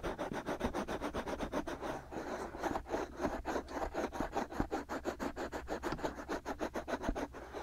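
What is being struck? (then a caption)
Silicone rubber ears of a binaural microphone. Both hands cup the two white silicone rubber ears of a binaural microphone, rubbing and scratching them with fingertips and short nails. A rapid, steady rhythm of muffled scratchy strokes is heard, mostly low-mid in tone with little brightness, each stroke ending quickly with no ring.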